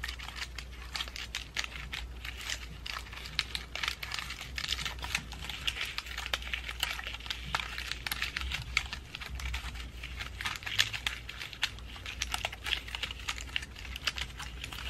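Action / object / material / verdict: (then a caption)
tap / pine cone and dried flower ornament ball / pine cone / none. Long nails rapidly tap and scratch the scales and dried flowers of a pine cone and dried flower ornament ball held in front of the face. The result is a dense stream of quick, bright, crinkly clicks and scratches over a steady low hum.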